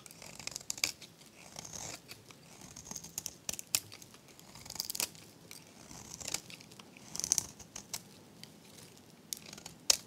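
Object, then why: Soap bar scraped with a metal blade. A metal blade scrapes crunchy flakes off a solid, dry, hand-held, hot-pink oval bar of varnished soap. Bright, crisp scratching and sharp crackling snaps come in short bursts separated by quiet pauses, with almost no low end and no ring after each snap.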